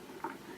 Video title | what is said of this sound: The Canning Process | you hear that click yup that's the jar sealing so each one of them will make a little popping sound